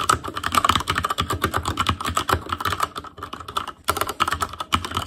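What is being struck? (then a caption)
Mechanical keyboard with plastic keycaps and metal plate. Fingertips of both hands type rapidly on a full-size ASUS ROG Claymore Core mechanical keyboard with plastic keycaps on Cherry MX Red switches, a metal plate, a hollow case and RGB backlight. A dense run of short, dry clacks carries a hollow ring around 1.3 kHz with bright edges, easing briefly just past the three-second mark before the quick typing picks up again.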